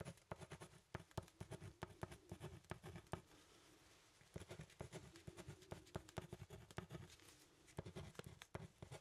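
A pen writes and scratches on a thin, solid brown hardboard clipboard with a metal clip, making quick, dry tapping strokes with a low, woody thud. A stretch of steadier, softer scratching sits in the middle before the sharp taps pick up again. The sound is quiet and close, with no ring after each stroke.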